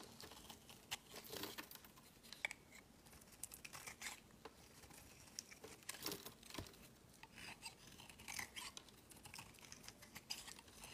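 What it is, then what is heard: Bar soap being scraped. A palm-sized solid white bar of soap is held in the hand and scraped with a utility-knife blade, peeling off thin flakes. The sound is a quiet run of dry, bright, crisp shaving and crinkling scrapes in short bursts, with almost no low end and no ring after each stroke.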